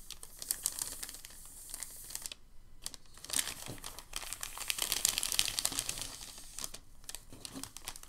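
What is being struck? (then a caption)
Thin packing paper sheet. Fingers grip a thin, crinkled sheet of packing paper and fold its edge over. The result is dense, bright crinkling in irregular bursts, broken by brief quiet pauses.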